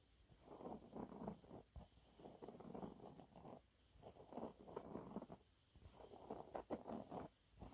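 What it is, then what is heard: Cellulose sponge cloth. Fingernails scratch a thin, flat, yellow textured cellulose sponge cloth, making soft, dry, raspy scratching in repeated bursts with brief quiet pauses between them. The sound is quiet and mostly low-mid, with little bright hiss.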